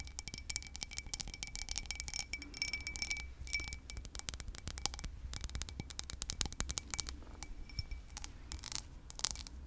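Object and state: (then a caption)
Cut crystal tumbler, tapped with nails. Long pink nails tap and scratch the textured side and base of a small, hollow, empty cut crystal whiskey tumbler held in the hand. The result is a dense run of quick, crisp, bright clicks and scrapes with little ring, over a faint low hum.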